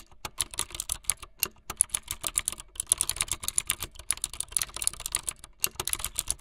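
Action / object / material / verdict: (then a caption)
tap / plastic mechanical keyboard / plastic / none. Fingertips with long light-blue nails type fast on a full-size plastic mechanical keyboard with white, blue and yellow plastic keycaps and a blue backlit frame. A rapid, steady run of short, bright, clacky keystrokes follows, with a few brief pauses. Each click is crisp and dies away almost at once.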